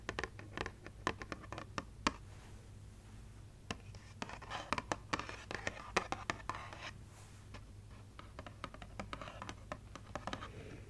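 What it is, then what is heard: Paper gift bag. Long nails tap and scratch a small, hollow printed paper gift bag with a Santa design and a red handle. Crisp, sharp clicks and dry papery scratching scrape over a faint, steady low hum. The taps come in quick irregular bursts, with longer stretches of rustling scratches in between.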